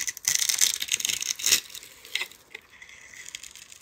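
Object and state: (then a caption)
Bar soap scraped into crumbling cubes. A metal utility-knife blade scrapes across a palm-sized, solid pale-green soap bar that is held in the hand and pre-scored into cubes, so the cubes crumble off. The sound is a dense, crisp, high-pitched crackling and scraping for about the first second and a half. It then thins into quieter, scattered dry crunches and small flakes falling.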